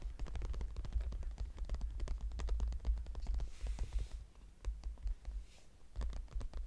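Fingertips and nails scratch and tap across the front flap of a small floral-printed brown leather crossbody purse with a metal clasp, closed and lying flat. The result is a dense run of quick, dry ticks and scratchy strokes over a steady low rumble, with a couple of softer, hissier brushing stretches in between.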